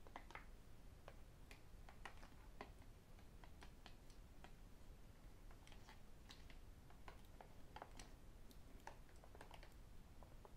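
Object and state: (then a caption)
Plastic water bottle. A hollow white plastic sports bottle with a black design, held in one hand, is tapped with fingertips and metal rings. The taps are quiet, rapid, light clicks with a short ring, steady over a low background rumble.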